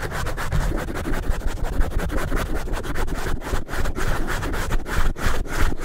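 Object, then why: Foam microphone windscreen. A handheld microphone with a black foam windscreen is held in one hand and scratched and rubbed with the fingertips and nails of the other hand, while a second microphone stands untouched nearby. The result is a fast, continuous stream of dense scratching and rubbing bursts with a heavy, muffled low-end rumble and very little high-frequency content.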